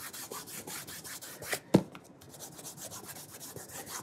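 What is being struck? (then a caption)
Leather dress shoe. A burgundy leather cap-toe dress shoe, held on its side with its studded rubber sole showing, has its toe cap rubbed in small circles with cloth-wrapped fingertips. Quiet, rhythmic, bright swishing strokes repeat steadily, broken near the middle by one brief, sharper knock.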